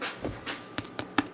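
A freshly baked no-knead white bread loaf, just taken out of the oven and flipped out of its pan, is tapped six times, giving soft, short, dull thumps. The hollow sound shows the loaf is fully baked, already confirmed by an internal temperature reading over 190 degrees.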